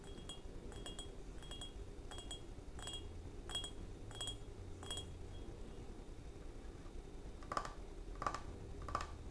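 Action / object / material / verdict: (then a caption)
tap / ceramic creamer pitcher / ceramic / none. A small cream-colored ceramic creamer jug with a blue floral pattern and a handle, hollow and apparently empty, stands on a wooden table and is tapped with fingertips and short nails. Light, bright clinks repeat steadily over a low background hum. Near the end, three sharper taps ring out with a short, clear tone.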